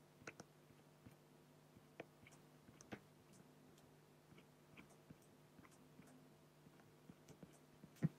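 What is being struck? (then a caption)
Fine-liner pen on an acrylic glass sheet. A black fine-liner pen scratches strokes across a large, flat, solid acrylic sheet while the other hand rests at the left. Quiet, brief clicks and ticks of the pen tip sit over a steady low hum, and a louder tap lands at the very end.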